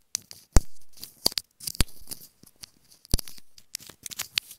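Long nails tap and scratch a small, hollow, white plastic earphone inline remote microphone held between the fingers. Irregular, sharp plastic clicks and brief scratchy rasps come through close and dry, with bright, hissy highs and a few deeper thumps from the strongest taps.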